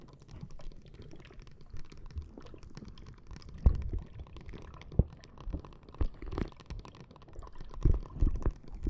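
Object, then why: Plastic bag of gel water beads. A clear plastic bag full of red gel water beads rests on the microphone and is tapped and scratched with long nails. The result is a stream of soft, muffled, squishy thumps and faint crinkling, mostly deep and low, with a few sharper taps standing out.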